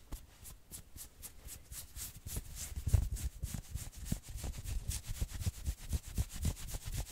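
Fingernails scratch quickly over the arm and shoulder of a worn maroon knit sweater. It makes a rapid, uneven run of rough, bright scratching strokes, about four per second, over soft low rubbing thumps. Each stroke stops short with no ring.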